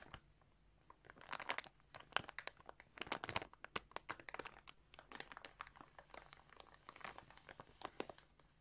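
Fingertips tap and rub a large, clear plastic bag full of yarn balls. The result is quiet, bright crinkling and crackling in quick, uneven bursts, with short sharp snaps and almost no low end.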